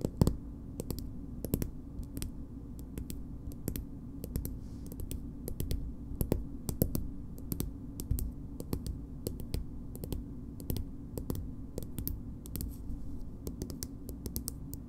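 A small, soft plastic BB cream tube is tapped and scratched with long nails. Dozens of quick, dry clicks ring out with a bright, crisp edge over a steady, low, muffled hum. Each tap stops almost at once.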